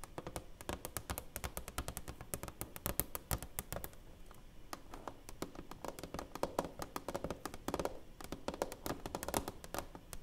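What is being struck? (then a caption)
Framed plaque with clear plastic cover. Long nails rapidly tap and scratch on the clear plastic front cover over a black-framed silver play button plaque held upright. A steady stream of short, dry clicks with soft low thumps continues for about ten seconds, each tap dying away almost instantly with no ring.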